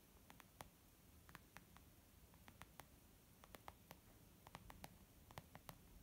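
Fingertips tap gently and slowly on a leather makeup bag, producing a series of soft, short clicks with a bright edge. The quiet, irregular taps stop almost instantly over a faint, low, steady background hiss.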